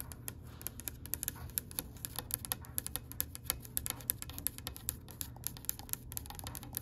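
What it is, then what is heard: Oak wooden tabletop. Long pale pink acrylic nails tap quickly on the edge of a solid oak-grain wooden tabletop. The result is a rapid, uneven run of short, sharp clicks that die away almost instantly, over a steady low background hum.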